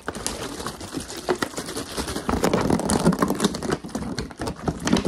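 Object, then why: Thin plastic water bottle. A large, clear, empty-looking crumpled plastic water bottle with a blue cap is held in one hand while the fingertips of the other tap and scratch it quickly as it is moved around. The result is a dense, irregular stream of fast crinkly taps and scratchy rustles with bright, crackling edges over a hollow low thump.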